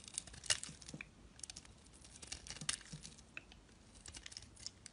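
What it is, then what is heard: Glycerin soap bar being shaved. A utility knife blade shaves and scrapes thin curls off the surface of a solid, hand-sized, translucent orange glycerin soap bar held in the fingers. The result is a quiet run of crisp, bright crackling and scratchy ticks, with a few sharper snaps standing out from the soft rasp of the blade.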